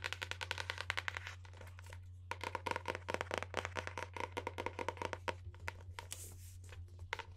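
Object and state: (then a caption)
Hardcover book. Long painted nails rapidly tap and scratch the solid, printed paper-covered board front cover of a medium-size hardcover book, "Contos Peculiares," held upright. The sound is a quick run of short, bright, dry clicks with brief softer scratching stretches between them. A steady low hum runs underneath throughout.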